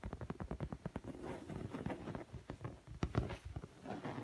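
Fingertips and medium-length nails tap and scratch the textured surface of a large, padded black leather sofa seat cushion that is soft and stuffed, not hollow. A quick run of soft, dull, low thumps gives way to a brushing scratch, then a few more taps. Each hit is muffled and dies away almost at once.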